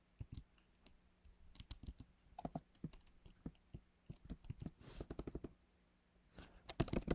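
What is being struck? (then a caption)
Laptop keyboard, plastic keys in aluminium body. Fingertips type slowly, partly with one hand, on a backlit MacBook Pro keyboard with plastic keys set in a solid aluminum body. Sparse, soft, low key taps click with short pauses between them, then a quick, denser burst of typing near the end.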